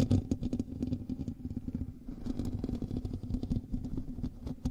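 Fingernails scratch across the hollow metal mesh grille of a black microphone. The result is a continuous, dense scraping and rustling with many quick overlapping strokes and a heavy low, boomy body. A steady hum sits underneath, with only faint bright edges on the sharper scratches.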